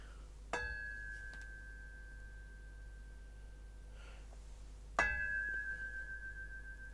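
An empty, unfilled metal speaker stand is tapped twice, and each tap sets off a sustained bright metallic ring around 1.7 kHz that lingers long after the strike. This ringing is the main sonic reason for mass-loading or filling such stands.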